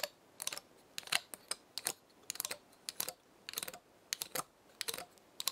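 A long nail flicks and scratches the woody scales of a small dry pinecone held in the hand. Quick bursts of bright, dry, crackly clicks come in short clusters with silence between. Each tick stops almost at once, with nothing in the low end.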